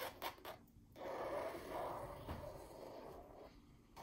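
Long pink nails scratch and trace across a white and yellow floral painting on canvas hanging against an orange wall. A few light taps open the clip, then a steady, soft scratchy rubbing over the canvas weave carries through the middle, fading before a last small tap at the end.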